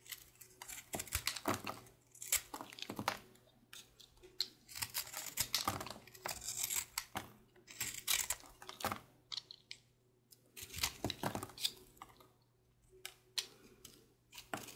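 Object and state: Soap bar shaved with a knife.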